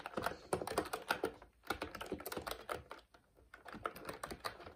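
Both hands type steadily with their fingertips on a plastic retro mechanical keyboard with a cream frame and round black plastic keycaps, pressing and releasing the keys. Quick, sharp plastic clacks come in dense bursts, with brief pauses near 1.5 and 3.2 seconds. Each click is crisp and mid-toned and dies away almost instantly.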